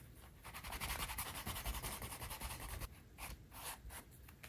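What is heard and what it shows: The edge of a small, thin, flat dark-brown leather wallet panel, held in the hand, is rubbed back and forth with a turned wooden edge burnisher for edge slicking. Quick, dry, scratchy strokes hiss across a bright band, louder for the first three seconds, then softer and more spaced out. Afterward the panel is held without the tool.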